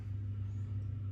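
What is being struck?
Nothing is struck.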